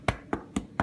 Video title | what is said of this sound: Sourdough For Kids Part Two | we knock on the bottom does that sound hollow there's nobody home there that is good